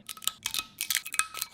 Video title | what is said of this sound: I Tested TikTok’s Craziest Food Hacks So You Don’t Have To! | you can hear how crispy they are